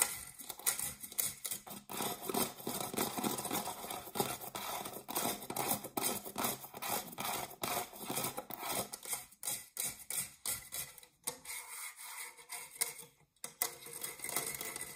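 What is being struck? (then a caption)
Metal springform cake pan. Fingernails scratch the textured base of an empty round dark non-stick metal springform cake pan, then move to its ribbed side wall. The result is a quiet, dense run of bright, raspy scrapes and ticks with almost no low end, pausing briefly near the end before the scratching resumes.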